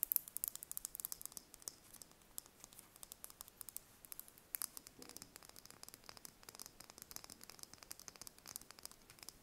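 Long red nails tap and scratch the thin shell of a single brown chicken egg held in the hands. The result is a quiet, steady stream of rapid, crisp clicks and light scratching, bright and dry with almost no low end and no ring after each tap.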